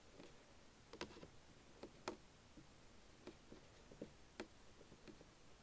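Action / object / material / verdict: tap / plastic keyboard panel / plastic / none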